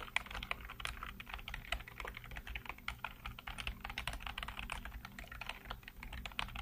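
Fingertips type rapidly on the keys of a black plastic backlit computer keyboard, producing a dense, quick stream of short, crisp clicks centered in the upper mids. A faint steady low hum sits underneath the tapping throughout.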